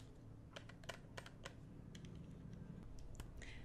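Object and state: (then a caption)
Plastic game controller tapped. Fingertips and nails tap and click the buttons and shell of a small, hollow, red plastic PS4 game controller held in both hands. Quiet, irregular sharp clicks and taps sound over a low steady hum.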